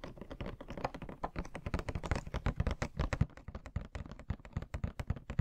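Fingernails tap quickly on the plastic window and cardboard sides of a hollow Pennywise Funko Pop box with the figure inside. The taps come as a rapid, uneven stream of short, dull, hollow clicks and thuds, mostly low and muffled, with almost no ring after each hit.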